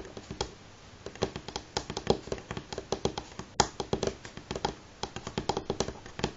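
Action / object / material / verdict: tap / wooden table top / wood / none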